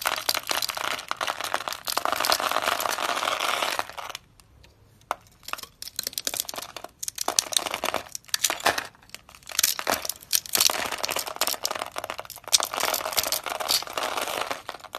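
A utility knife blade scrapes pre-cut cubes off a solid, palm-sized pink dry soap bar held in the hand, making crunchy chips. Dense, bright crackling and crumbling crunches run in bursts, with a near-silent pause around four to five seconds before the scraping resumes in several more crunchy runs.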